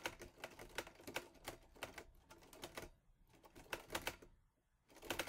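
Fingertips type on the keys of a teal metal Olivetti Lettera 22 portable typewriter, giving a quick run of sharp, bright metallic clacks with very short decay. The keystrokes come in bursts with brief pauses around the third and fifth seconds before the typing resumes.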